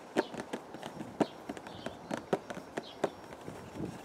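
Fingertips tap a small, hollow printed cardboard teacake box in purple and white packaging, held in the other hand outdoors in a windy garden. Irregular, quick, dry hollow taps with a low-mid tone around 300 Hz die away almost instantly over a soft, steady wind background.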